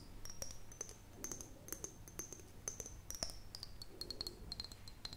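An empty, hollow clear glass mason jar with a metal screw lid is tapped and scratched on its glass side with long fingernails. Rapid, sharp clicks mix with soft scratching, each tap briefly bringing out a high glassy ring that drifts slightly lower over the clip. The sound stays quiet and close.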